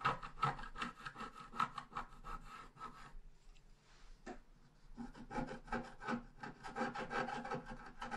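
A wooden stylus scratches the bottom grass area of a thin scratch art paper sheet lying flat. Quick, dry, bright scraping strokes come in a steady rhythm, then ease into a quiet pause with one sharp stroke near the middle. The scratching then picks back up at the same pace.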